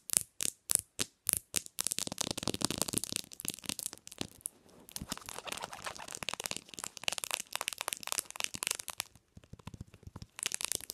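Long nails tap rapidly on the glass screen and plastic back of a bare black Samsung smartphone resting on a pillow. Six slower, evenly spaced clicks open the clip, then dense flurries of fast, dry, high-pitched ticking follow with almost no ring. A brief pause near the end precedes another quick burst.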